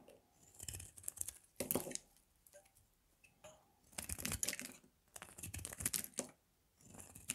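A palm-sized, dry, pale green bar of Palmolive soap is held in one hand and cut and shaved with a metal blade, curling slices off its edges and leaving shavings on the table. Repeated bursts of crisp, crackly scraping and tearing come with a bright, hissy edge and short quiet pauses between strokes. The sound stays fairly soft throughout, with dry, quick-fading crunches.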